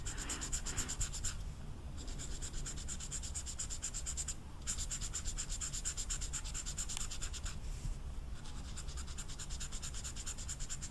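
An orange felt-tip marker is scratched and rubbed over the velvet surface of a small rectangular velvet-flocked paper poster, while the card is held down with long red nails. The result is a steady, fast, bright scratching texture, broken by brief pauses. A low hum runs underneath throughout.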